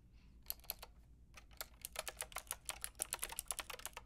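Long painted nails and fingertips type on a white-and-pink Lofree mechanical keyboard with round plastic typewriter-style keycaps and a hollow plastic case. A short burst of quiet, bright, sharp clicks is followed by a brief pause, then a steadier, quicker run of crisp plastic taps. Each click dies away almost instantly.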